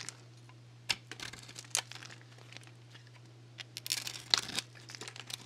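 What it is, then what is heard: Dry lacquered soap bar being shaved. A small metal blade shaves crackly strips off a solid, dry bar of soap coated in black nail polish, held in a hand with painted nails. Sharp, bright crinkling snaps and scrapes come in bursts over a quiet, steady low hum, with a denser cluster of cuts near the end.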